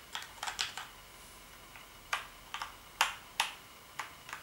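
Fingertips press and tap the keys of a black plastic gaming keyboard, making about ten sharp, bright clicks at an uneven pace. Each click is crisp and dies away almost at once, with quiet pauses between them.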